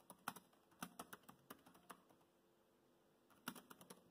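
Fingertips of both hands type steadily on the black plastic chiclet keys of a dark grey laptop. About fifteen short, dry clicks with no ring land in two bursts, separated by a quiet pause of roughly a second and a half.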